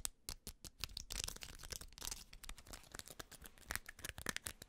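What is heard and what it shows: Fingertips and nails rapidly scratch and tap a grey-white fabric trucker cap held in the hand, mostly across its white plastic mesh back panel and the fabric. It makes a quick series of short, dry, bright scratching and crinkling bursts with a little low thump.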